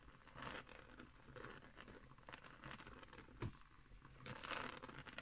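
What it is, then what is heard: Woven straw trivet. Long nails scratch the surface of a round, coiled, woven straw trivet that is briefly lifted. The result is quiet, dry crinkling and rasping in bursts, with a soft low thump partway through and a brighter scratch at the end.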